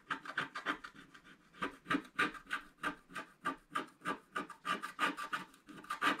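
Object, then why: Coated scratch art paper and wooden stylus. A wooden stylus stick scratches across the lower part of a flat black coated scratch art paper sheet. Quick, dry rasping strokes repeat at a steady, brisk pace, each a short, bright scrape centred in the upper mids with almost no low end. The strokes stop sharply with no ring.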